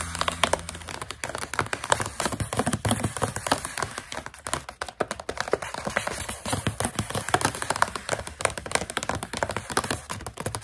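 Long nails tap and scratch on a partly full plastic pouch of coconut strips, with some crinkling of the plastic. Dense, rapid, sharp clicks and scratchy rustles run throughout, bright and dry with almost no ring. A low steady hum sits underneath during the first second.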